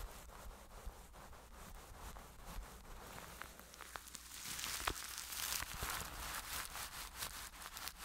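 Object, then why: Plastic cling film wrapped over a microphone, brushed. A flat-topped makeup brush rubs across clear plastic cling film wrapped over a microphone head held in one hand. Close, crinkly rustling and brushing strokes carry a bright hiss, with faint sharp crackles and a low rumble underneath. The sound is quiet at first and grows louder and denser in the second half.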